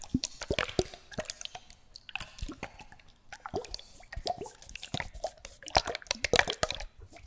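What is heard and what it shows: Small bottles with liquid inside are shaken close up, giving wet sloshing, dripping and plopping sounds. Many quick, bright splashes overlap with short gaps, and each dies away almost at once.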